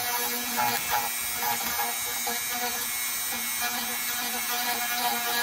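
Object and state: Nothing is struck.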